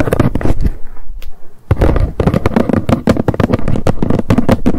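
Long nails rapidly tap the lid of a small, hollow white cardboard box, first standing upright and then lying flat on a fluffy rug. The tapping comes as quick, dull, low thuds with a brief pause partway through before the fast tapping resumes.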